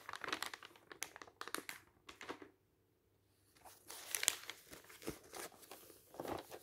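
Fingertips turn and rub the pages of a thin, glossy printed paper magazine lying on a table, producing quick, bright, crisp paper crinkles and rustles. The crinkling comes in dense bursts, with a brief near-silent pause in the middle before it resumes.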